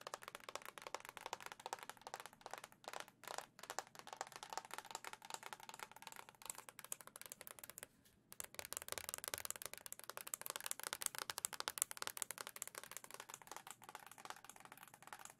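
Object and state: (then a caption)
Plastic console dock. A white, hollow plastic Switch dock with a printed emblem is held in both hands and tapped with long nails. Rapid, dense, dry clicking taps with almost no ring run throughout, broken by a few brief pauses.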